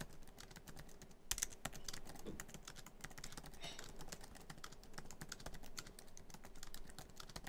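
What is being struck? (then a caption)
Laptop keyboard, plastic keys in aluminum body. Fingertips of both hands type quickly across a MacBook Pro keyboard, tapping many black plastic keys set in the hollow, silver aluminum laptop body. The result is a fast, steady stream of short, dry, bright clicks and taps with almost no ring, sitting at a fairly quiet level.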